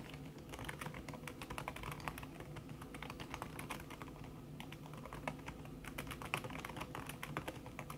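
Fingertips with long red-painted nails type fast on a thin backlit aluminium keyboard whose plastic keys sit under a red silicone skin. The result is a dense, steady stream of soft, muffled tapping clicks with short bright ticks over a low hum.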